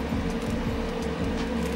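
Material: Nothing is struck.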